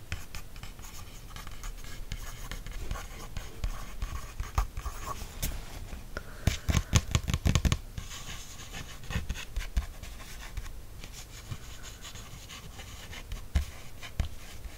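A wooden stick and then a fingertip trace and scratch over the printed text of an open embroidery book page made of thick paper. Soft, continuous dry scratching runs throughout, with a dense cluster of sharper taps and scrapes around the middle.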